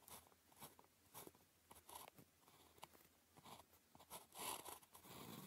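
The tip of a blue plastic ballpoint pen, held in the fingers, writes on a thin grid-printed paper calligraphy practice sheet lying flat on a desk. Continuous scratching strokes come in quick, bright, crisp bursts with soft pauses between them. The sound is quiet and dry, with little low end and a short decay after each stroke.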